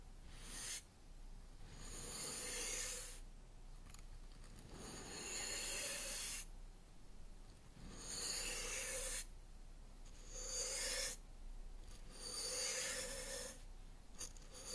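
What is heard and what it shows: A wide black-bristle paintbrush is brushed up and down and across a solid wooden cutting board lying flat. It makes a series of soft, breathy, bright hissing swishes that rise and fade, separated by quieter gaps with a faint low rumble underneath.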